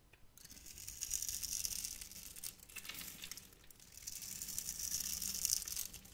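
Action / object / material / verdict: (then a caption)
scrape / glycerin soap bar carved with a metal knife / glycerin soap / none. A metal knife scrapes and carves small cubes off the end of a hand-sized, solid, translucent orange glycerin soap bar with glitter flecks, held in the hand. The sound is a bright, crisp, crackly scraping that comes in three swells with short pauses between them, and it has very little low end.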